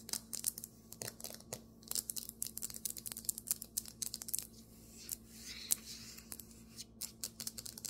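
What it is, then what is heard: Marble table top. Fingernails tap quickly on a marble table top, giving dozens of sharp, bright, dry clicks with almost no ring. A softer scratching stretch comes near the middle over a faint low steady hum.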